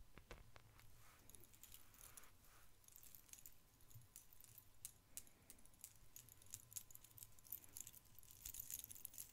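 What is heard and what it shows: An ornate silver-tone metal chain necklace dangles from the fingers, and its links jingle as they are handled with the fingertips and shaken. The sound is a soft, continuous metallic tinkling with many quick bright clicks over a low background rumble, growing a little busier toward the end.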